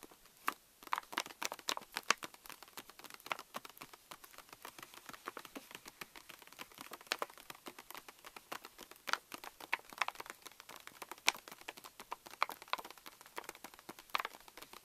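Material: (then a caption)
Plastic foil. Long nails tap rapidly on the front of a pink Reese's candy pouch made of plastic foil laminate, resting on a table. The quiet, dry ticks and crinkles are bright with no low end, each stopping instantly with no ring. Some taps land with more force than others throughout.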